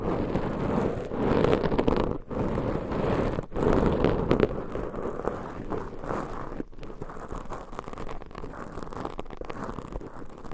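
Long pointed nails scratch two black foam microphone covers, making a dense, crackling, rustling scrape that is loudest in the low-mids and has almost no bright content. The scratching comes in quick, uneven strokes with brief pauses near 2.2 and 3.5 seconds, then softens over the second half.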